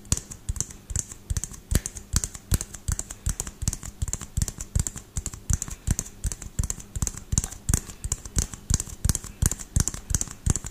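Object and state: Frosted plastic LED bulb dome.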